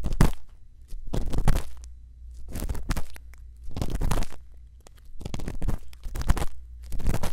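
A thin bamboo earpick scratches inside the ear canal of a silicone ear on a binaural microphone. It makes close, crunchy scraping bursts that come and go, with a heavy low rumble underneath and brief quiet gaps between strokes.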